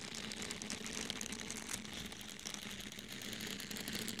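A small, soft orange porous foam sponge is held in the hand, squeezed and scratched with fingernails. The result is a steady, dense, bright crinkly scratching texture with many quick scrapes. A faint low hum sits underneath around 200 Hz.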